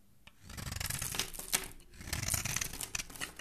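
A black metal blade scrapes and shaves the surface of a solid white rectangular bar of soap with an embossed logo, held in the hand, throwing off powdery flakes. The sound is a run of dry, bright, rasping scrapes that swell and fade in quick uneven strokes.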